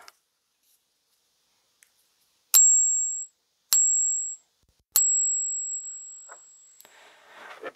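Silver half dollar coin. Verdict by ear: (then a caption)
Suspect. A silver Kennedy half dollar is ping-tested three times with a pinger, each tap producing a high, thin ring that fades quickly, the last one lingering slightly longer. The ring is judged bad and the app gives an unstable result, marking the coin as suspect. A soft rustling follows at the end.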